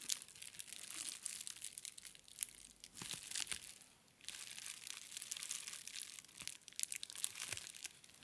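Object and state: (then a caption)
Plastic bubble wrap. A clear plastic bubble wrap sheet is stretched over a plastic brain model while fingertips and short nails press and scratch the bubbles. The result is a soft, bright, dense crinkling with sharp little pops scattered throughout, plus a brief lull around the middle before the crinkling picks up again.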